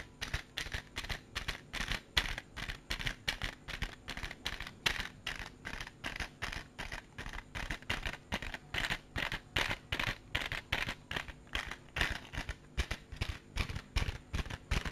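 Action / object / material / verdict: tap / small clear plastic compartment case / plastic / none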